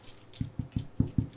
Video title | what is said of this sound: Cuchaule fribourgeoise : moelleuse et parfumée pour la Bénichon | on peut contrôler la cuisson en tapotant le fond. Si ça sonne creux, c'est que c'est cuit